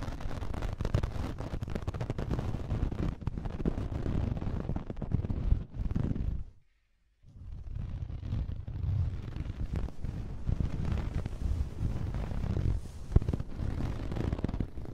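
A thin white cotton cloth, almost paper-like, is draped over a hidden microphone in a head-sized bundle held in both hands, and scratched and rubbed with fingertips and long nails. The result is a dense, deep, muffled rumble of scratching and crackling, heavy in the lows. It drops to silence briefly just before the 7-second mark, then resumes steadily to the end.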